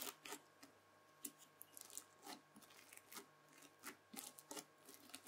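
Red bead-filled floam slime is first pressed flat by hand, then scratched with the tines of a white plastic fork. Quiet, bright, crunchy crackles come in short separate bursts, each fading almost instantly, over a faint steady background tone.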